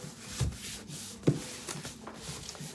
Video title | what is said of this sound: Old Curiosity Shop is live! | when you shake it what should you hear nothing